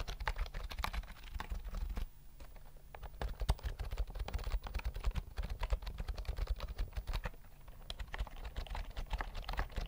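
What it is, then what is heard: Plastic keyboard being typed on. A full-size white plastic keyboard with round mint keys and a hollow body is held near the mic while its keys are typed and tapped with fingertips. Rapid, short clicks and clacks with a hollow, low thump run steadily throughout, easing briefly into lighter taps between about 2 and 3 seconds.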